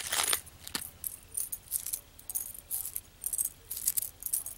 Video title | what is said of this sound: How To Make Miniature Candle Holders and Unboxing Dollhouse Dishes | sounds like metal in there